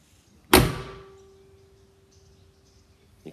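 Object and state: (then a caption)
Well-fitting original steel car door. The steel door of a 1972 Porsche 911T is shut once with a solid, full-bodied thunk, followed by a clear ringing tone around 370 Hz that hangs on, slowly fading, for about two and a half seconds like a struck musical instrument. A faint, soft knock follows near the end. The ping marks a well-fitting, original door, the kind only a genuinely nice original car has.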